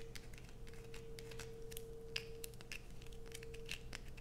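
Long pointed nails scrape and scratch a solid blue bar of soap held in the hands. Quick, bright scratchy clicks come in a rapid, irregular series over a steady low hum and a faint constant tone near 450 Hz. The sound is quiet throughout.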